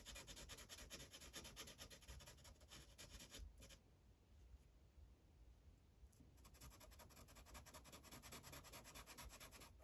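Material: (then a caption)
Paper. A yellow felt-tip marker rubs quickly back and forth over a thin printed paper coloring page resting on a hard clipboard, filling in shapes. Dense, scratchy, bright rubbing strokes run steadily, ease into a quieter, softer stretch in the middle, then resume at full pace to the end.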